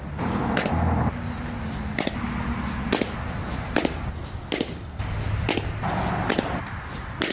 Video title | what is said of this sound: Is This The Best Catcher's Mitt? | it's a thick it sounds full it sounds awesome